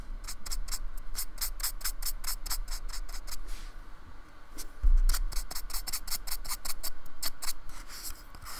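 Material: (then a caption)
Polystyrene foam. A paintbrush is rubbed and rasped along the edge and top of a small, solid, flat slab of white polystyrene foam with a painted surface, held by fingertips on a wooden table. Quick, bright, scratchy brush strokes repeat in a steady rhythm, pause briefly, then resume after a soft low bump, over a constant low rumble.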